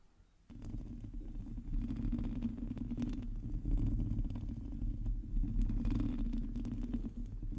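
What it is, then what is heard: Metal mesh microphone grille being scratched. Long teal nails scratch a hollow metal mesh microphone grille while both hands close around it. After a brief quiet start, a dense, continuous low rumbling scrape sets in, with rapid irregular scratches layered over a deep, muffled hum.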